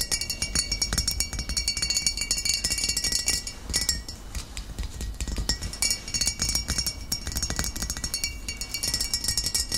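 Short fingernails of both hands tap rapidly on the glass sides of a medium glass vinegar bottle with a paper label and a metal screw cap, filled with cloudy amber liquid. The taps make a dense, steady stream of bright, high clinks with very short ring, softening briefly near the middle before picking back up.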